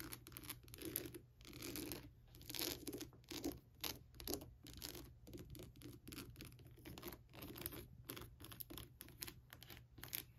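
Long black-tipped acrylic nails tap and scratch the textured surface and teeth of a life-size, hollow skull lamp made of glittery, crackled translucent plastic and lit from inside. Quiet, dry, crackly scratching and clicking taps come in irregular, closely packed bursts with a bright edge, over a faint steady low hum.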